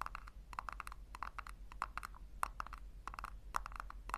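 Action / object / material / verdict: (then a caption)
tap / small plastic tub tapped with fingernails / plastic / none. Long nails tap and scratch the base of a small, hollow, pink plastic tub turned upside down. A quick, uneven run of short, dry clicks rings hollow around 1 kHz, with bright scratchy edges. A steady low hum sits underneath throughout.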